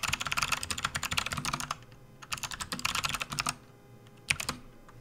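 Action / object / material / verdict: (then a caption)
tap / plastic computer keyboard / plastic / none. Fingertips type on a full-size plastic RGB backlit computer keyboard resting on a desk mat, producing rapid, bright, clicky keystrokes in two busy bursts separated by a short pause. At the end the left hand moves off the keys, leaving a few last isolated taps.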